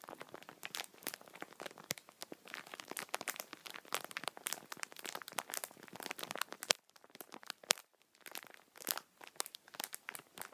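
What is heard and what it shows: Fingertips and thumbs press and rub the top of a multipack of tissue packets in plastic film wrap, crinkling the plastic. A dense run of bright, crackling crinkles and sharp snaps plays almost without bass, thinning briefly near the eighth second before picking up again.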